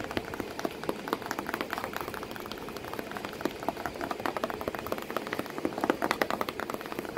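Long painted nails tap and scratch rapidly across the flat side of a hollow corrugated cardboard box packed with crumpled kraft paper, with a cat sitting inside. Dense, light, dry clicks and papery crackle sit mostly in the mids, with little low end and almost no ring. A few sharper taps stand out near the end.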